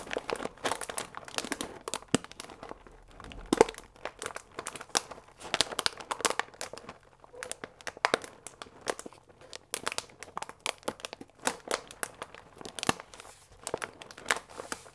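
A full paper fusilli bag with a plastic window, held upright, is squeezed with the fingertips. It gives dense, bright crinkling and crackling, with rapid sharp snaps in bursts and short pauses for fifteen seconds. There is almost no low end.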